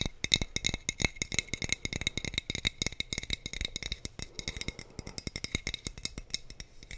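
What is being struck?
Empty glass wine bottle.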